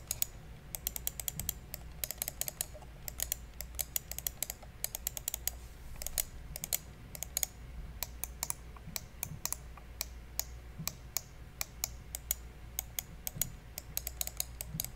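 A small, hollow black plastic gaming mouse is held in the hand close to the mic while fingertips click its buttons. Dozens of sharp, bright, very short clicks come in quick, uneven bursts over a steady low hum.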